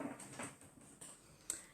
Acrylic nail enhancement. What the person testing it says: if you can hear the tapping sound, it means it's cured